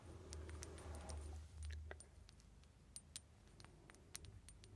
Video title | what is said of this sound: ASMR 🌟 Tapping for Tingles in the Dark 🌟 Lightly Metal & Glass | Así que es bastante grande y hace un sonido hueco. Así que es una lata de té tradicional inglesa.